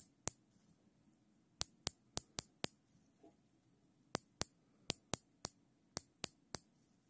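A black nylon zip tie, looped and held steady in gloved hands, has its tail ratcheted through the head. Fourteen sharp, bright clicks come in irregular clusters, each dying away almost instantly. A faint low hum sits underneath, with a soft muffled rustle midway.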